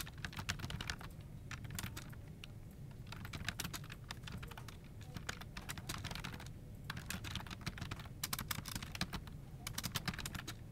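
Fingertips type on a dark plastic office keyboard resting on a desk, one hand at the start and both hands later. Quick, dry, bright key clicks come in irregular bursts with short pauses between them, over a steady low hum.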